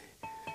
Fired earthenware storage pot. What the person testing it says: 땡땡 소리가 나면 잘 익은 게고 덜 익은 건 좀 퍼걱거리는 소리가 나고